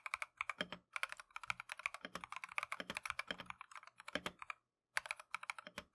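Gloved fingertips type continuously on a Keychron V1 plastic mechanical keyboard with Tangerine switches and green-and-cream PBT keycaps. The result is a rapid run of short, crisp, bright clacks centered around 1.5 kHz with almost no low end. There is one brief pause just before the five-second mark before the typing resumes.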